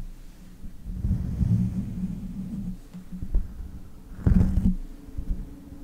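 Long nails and fingertips scratch, tap and grip the bare, hollow metal mesh grille of a pink condenser microphone. The result is a deep, muffled rumble of rubbing and soft thumps with almost no high end, swelling in places and peaking in a louder grabbing burst near the end.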